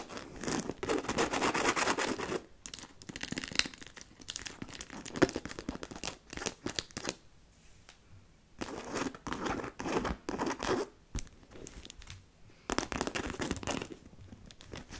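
A black fabric handbag with faux-leather trim and metal buckles, held by its handles and hollow inside, is scratched and tapped on its fabric front with long nails. Dense bursts of bright, rustling scratches alternate with quieter stretches of light, irregular taps and brief pauses.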